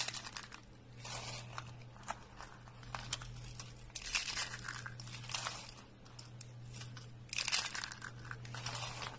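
Hollow rolled coils of thin, dry, pale green soap are crushed in one hand, and the flakes crumble. Bright, crackly crunching and crinkling come in dense bursts that swell and fade over a steady low hum.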